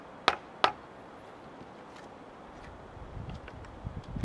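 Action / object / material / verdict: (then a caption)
strike / steel chisel struck by a wooden mallet into a cedar log / wood / none. A hand-held chisel is struck with a wooden mallet, chopping into the end grain of a large, solid cedar log with bark. Two sharp, bright knocks land close together near the start and die away almost at once. A quieter low rumble with faint ticks follows toward the end.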